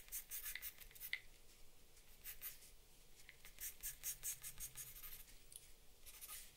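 An orange-wrapped charcoal or pastel pencil makes steady, bright scratching strokes across a flat sheet of drawing paper on a wooden desk, recorded close up. The dry, rasping bursts of stroking come in quick clusters with short quieter pauses between them, over a faint low background hum.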